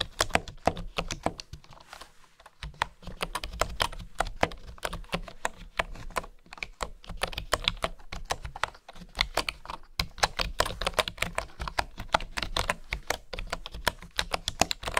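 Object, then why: Bamboo wooden keyboard. Fingertips and nails type and tap on the keys of a bamboo wooden keyboard, making a rapid, continuous stream of short, dry clicks with a bright edge. The typing pauses briefly near two seconds, then continues steadily over a faint low background hum.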